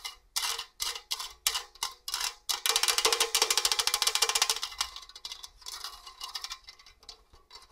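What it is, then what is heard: Stainless steel box grater scraped with fingernails. Long orange nails scratch over the fine and coarse grating holes of a hollow stainless steel box grater. Short, bright rasping strokes come in separate bursts, then merge into a fast, continuous buzzing rattle. The scratching finally thins out into softer, scattered scrapes.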